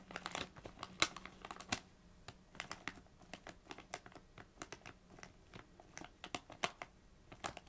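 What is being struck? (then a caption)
Metallised plastic crisp bag. Long acrylic nails scratch and tap a small Doritos bag made of metallised plastic film, apparently still holding chips, lying on a knit blanket. A quick, uneven run of sharp, bright crinkles and crisp ticks follows, each dying away almost at once, with soft rustling between them.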